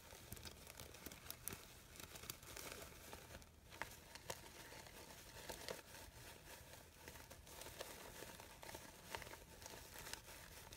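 Fingers with long nails crumple and rub the petals of a red crinkled-fabric artificial poppy flower with yellow stamens. A quiet, steady crinkling rustle fills the clip, broken by frequent short, bright crackles.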